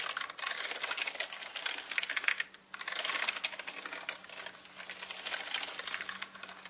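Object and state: Plastic mechanical keyboard.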